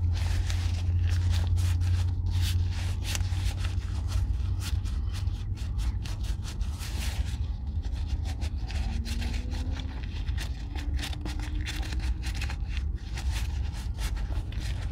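Gloved fingers rub over the upper of a hollow, empty, oiled brown leather Red Wing Weekender Chukka boot held in one hand. Quick, uneven scraping and rubbing strokes come through as bright, brushy bursts over a steady, heavy low rumble that stays at a constant level throughout.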